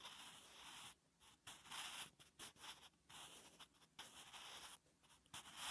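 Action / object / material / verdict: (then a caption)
scrape / graphite pencil on lined paper / paper / none. A wooden graphite pencil held in the fingertips writes Korean letters on a flat, solid lined paper notebook page. A steady, bright scratching stroke comes in bursts separated by brief quiet pauses, with a faint high tone running underneath.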